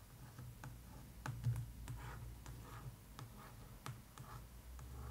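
Long acrylic nails and fingertips tap and trace the glossy, embossed paper-over-board cover of a large, closed "Tales of Deltora" hardcover book held on a table and then lifted. The result is a series of quiet, sharp clicks and soft scratchy strokes over a steady low hum.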